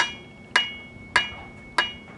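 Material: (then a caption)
Stucco. A metal-tipped tool taps four times on a solid, well-bonded area of a stucco wall. Each tap makes a sharp, bright click with a high ringing tone that dies away quickly, nothing like the dull sound of the hollow, unanchored patch.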